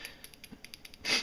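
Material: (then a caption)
Glass. A glass bottle of orange fingernail polish is shaken to mix it before color-filling the front sight of a Walther .380 ACP pistol. About eight quick, bright, clicking rattles come in a steady rhythm with almost no low end. A louder, hissy shake closes the clip.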